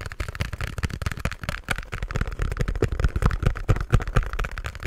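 Fingertips and nails tap and scratch a small pink cardboard box held in front of the mic. A rapid, irregular run of short, dull, boomy thumps with very little ring sits under a faint scratchy rustle.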